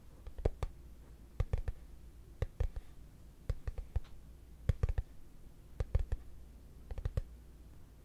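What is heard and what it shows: A hollow, translucent frosted plastic case held in both hands is tapped with fingertips and short nails. It produces short, sharp, hollow clicks in small uneven clusters spread across the clip, over a steady low hum. Each tap dies away almost instantly.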